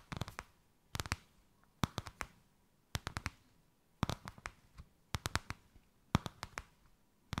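A white crocodile-embossed faux leather piece draped over a hand is tapped and scratched with long nails. The result is short clusters of sharp, dry taps roughly once a second, with quiet pauses between them.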